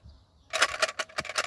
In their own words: Donc pareil, c'est une boîte en métal avec des dragées dedans. Parce que quand je secoue, vous pouvez entendre le bruit.